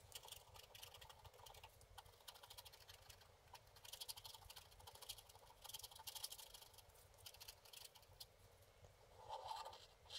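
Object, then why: Wax-coated scratch art card scraped with a wooden stick. A wooden stick held like a pen scratches the sky area of a flat, wax-coated scratch art card. Quiet, bright, dry scratching strokes come in quick, uneven bursts with almost no ring. There is a slightly louder scrape near the end.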